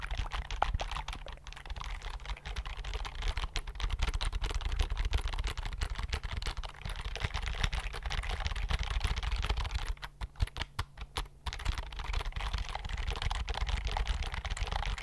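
A slim white computer keyboard with plastic keys is held up beside the microphone while fingertips type rapidly across it. The result is a dense, steady stream of fast, clicky key taps over a low rumble, thinning briefly near the ten-second mark before picking back up.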